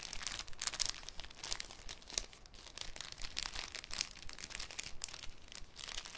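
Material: Cellophane.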